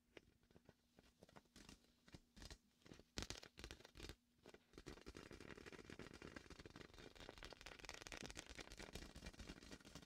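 A large red and white hollow inflated vinyl beach ball is held beside the mic while a hand and fingers slap and rub its sticky vinyl surface. For the first few seconds there are separate quick slaps and sticky peeling pops, with quiet gaps between them. After that the sound turns into a continuous dense crackling, squeaky rub with bright, tearing-like texture.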